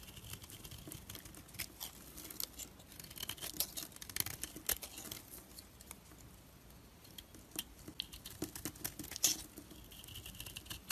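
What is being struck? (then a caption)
Bar of soap. A solid, rounded rectangular orange soap bar is held in the hand and shaved with a blade into thin curls. The sound is a quiet, bright, crisp scraping made of many small, dry ticks and crackles. It pauses briefly in the middle before the shaving resumes.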